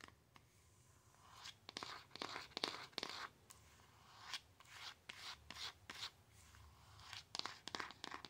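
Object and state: Cardboard box.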